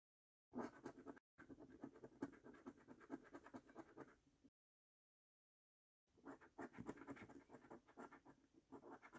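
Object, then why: Paper scratch card with latex coating. A coin scratches the latex coating off a flat, thin cardboard paper scratch card lying on a dark wooden table. It makes a dry, rapid, gritty rasp in quick strokes: a short burst, then a longer stretch, a pause of about a second and a half of silence, and another run of scratching. The sound stays in the mid range with little bright hiss.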